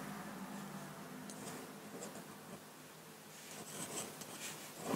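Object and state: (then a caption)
Drawing paper under a pen nib. A metal dip-pen nib in a wooden holder scratches ink lines across a flat sheet of white drawing paper resting on a table. The scratching is quiet and dry, with bright, fine strokes over a faint low steady hum, and it grows busier and louder toward the end.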